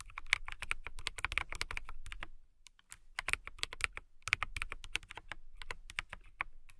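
A transparent mechanical keyboard with clear plastic keycaps is typed on with long-nailed fingertips. Rapid, bright, crisp clicks with a dull low thud come in dense bursts, stop briefly in a quiet pause near the middle, then resume at a steady pace. Each tap is short and dry with almost no ring.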